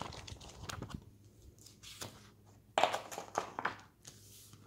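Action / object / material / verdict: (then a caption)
scrape / glossy paper magazine / glossy paper / none. Fingertips lift and turn the pages of an opened glossy paper magazine, then a hand presses the spread flat and rubs it. Soft papery swishes and crinkles come through at first, followed by sharper, brighter crackles and rustles as the glossy pages are turned and smoothed, each one fading quickly.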